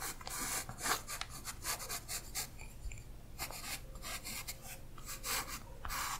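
A 4B graphite pencil draws and scratches lines along a figure's outline on thin tracing paper laid over a printed illustration on a flat surface, while a hand with orange nails holds the sheet down. Quiet, bright scratchy strokes come in short repeated bursts over a soft low rumble, with faint paper rustling between them.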